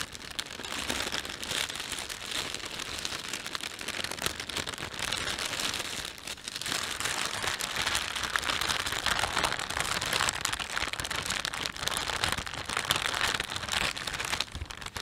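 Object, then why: Thin plastic shopping bag. Fingers pinch and stretch the film of a thin, empty plastic panda shopping bag, producing dense, continuous crinkling with a bright, hissy character. The crackle runs steadily throughout, easing briefly around the six-second mark before building again.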